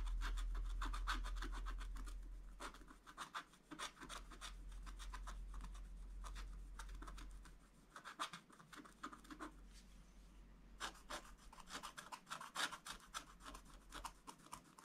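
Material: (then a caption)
Coated paper. A wooden stylus tip scratches strokes across a black coated scratch-art page in a spiral book, drawing a tractor. Quick, fairly regular dry rasping strokes come in bursts over a low, steady hum, with the scratches bright and papery against a quiet background.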